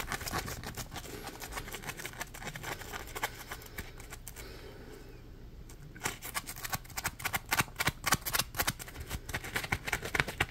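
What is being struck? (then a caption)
Polymer foam scrub sponge. A dry, porous, palm-sized yellow Scrub Daddy polymer foam sponge is squeezed and scratched with fingertips. It gives rapid, irregular crackling scratches with a bright, papery edge and a low hum underneath. The scratches soften and thin out around the middle, then return louder and sharper toward the end.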